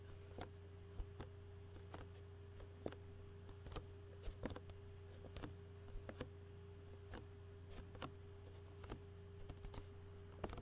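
Fingertips tap and fingernails scratch a clear plastic takeout food container lid, using both hands. About 18 short, sharp, quiet ticks ring briefly and stand out against a steady low hum and a faint constant tone near 410 Hz.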